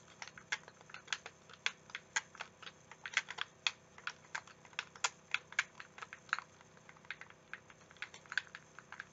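A translucent green, hand-sized, hollow plastic game controller is held in the hands while fingertips click its buttons and tap its shell. Around 35 short, dry, bright plastic clicks and taps come in an irregular, quick patter. Each stops almost instantly, with little low end under them.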